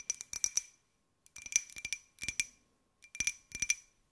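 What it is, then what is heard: Ceramic jar tapped with fingernails. A small, white, glossy, hollow ceramic pineapple jar is tilted in the hands and tapped on its side and rim with long nails. Quick clusters of bright, clicky taps come in four bursts separated by short silences, each with a faint high ring that fades almost at once.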